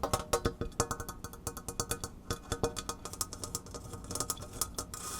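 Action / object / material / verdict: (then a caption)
tap / tin cookie box lid / tin metal / none. Fast tapping and light scratching on the shiny tin-metal back of a butter cookie tin lid, with many quick, short, bright clicks that die away almost instantly. Near the end the tapping thins out into a softer, hissy scratching sound.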